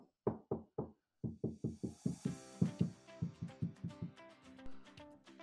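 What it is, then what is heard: Solid, deadened car body panel. A Tesla Model 3's fender sheet-metal panel behind the subwoofer, treated with butyl sound deadener and closed-cell foam, is tapped sixteen times in a quick series of short, dull, low-pitched knocks that die away almost at once, over faint background tones and hiss. The panel now sounds solid, with no rattle.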